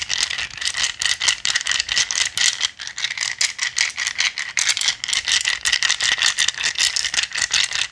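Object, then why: Handful of small acrylic gem stones. A handful of small, solid, clear acrylic gems is held in cupped hands and shaken and rubbed together. It makes a dense, bright rattle of short, dry clicks with a steady band near 2 kHz and no low end. The rattle runs continuously for about eight seconds in quick bursts.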